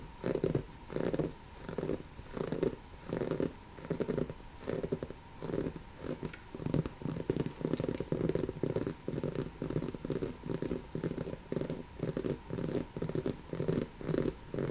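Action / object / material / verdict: scrape / woven fabric pillow / fabric / none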